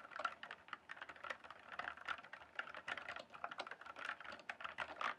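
Fingertips type and tap on a full-size RGB-backlit plastic mechanical computer keyboard with hollow keys on a solid base. A quick, steady run of short, dry plastic clacks is centred around 1.4 kHz, with bright edges and almost no low end. Each keystroke dies away almost instantly.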